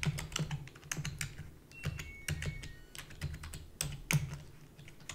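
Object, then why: Plastic computer keyboard. Rapid typing with long fingernails and fingertips on a full-size black plastic keyboard with a hollow body. The result is a quick, uneven stream of dry clacks, each with a low, hollow thump and a bright, clicky top. The clacks stop dead with no ring, and a few faint thin tones sound near 2.3 kHz.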